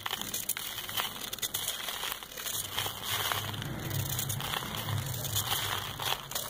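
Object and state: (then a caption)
Packed sand ball, scraped. A solid, disc-shaped ball of compacted sand held in the palm is scraped and shaved with a metal knife. A steady run of dry, gritty crackling and crinkling rasps on, bright and dense with many small scratches, over a faint low hum.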